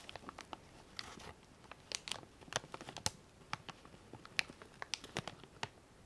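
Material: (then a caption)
Plastic. A small clear resealable plastic bag full of cotton swabs is held in both hands, squeezed and handled with the fingertips. Quiet, bright crinkling comes in a rapid, uneven run of sharp little crackles and clicks, with a few softer rustling swells, and each crackle stops almost instantly.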